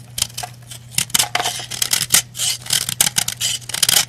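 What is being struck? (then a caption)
Pressed-powder bath bomb scraped with a knife. A white pressed-powder bath bomb is scraped down with a black-handled knife, crumbs and powder falling away. A quick series of short, dry, crunchy scrapes sounds bright and gritty. A faint low hum runs steadily underneath.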